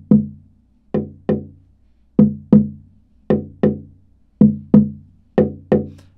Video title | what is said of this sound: Tap Tone Comparison between Bolivian rosewood with Spruce Top and a Koa OM Guitar by Portland Guitar | we hear very similar tones on the top in the back